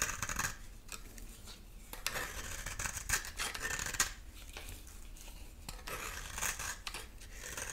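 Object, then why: Bar of soap scraped with a metal blade. A dry, solid cream-colored bar of soap is held in the hand and scraped repeatedly with a metal utility knife blade, peeling off shavings. Quick, irregular strokes make dry, bright scraping rasps with little low end. Each stroke cuts off short with almost no ring.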